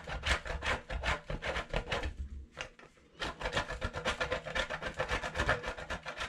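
A hand-sized, solid white bar of soap is rubbed by hand over the coarse holes of a stainless steel box grater. It makes a rapid series of dry, raspy scraping strokes with a bright, gritty edge. The strokes stop briefly about a third of the way in, then resume at a steady pace to the end.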